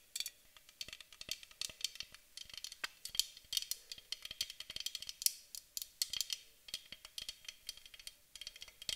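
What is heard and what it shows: A white aluminum aerosol spray can, held in both hands, is tapped rapidly on its body with the long nails of both hands. About 46 quick, dry, bright clicks and ticks arrive in an uneven, rattling rhythm, each dying away almost instantly, over a faint steady midrange tone.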